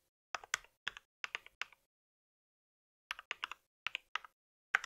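Fingertips type at a moderate pace on a compact white mechanical keyboard with plastic keycaps, producing short, crisp clacks with bright high-end click. The keystrokes come in two quick bursts separated by a silent pause of about a second, each tap ending almost instantly with no ring.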